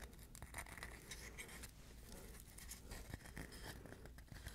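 A hollow, dry, hand-sized coconut shell half, brown and fibrous outside and smooth inside, is scratched and tapped with the fingernails. Soft, dry scratching mixes with quick, short clicks and taps over a steady low hum. The taps die away almost at once, with no ring.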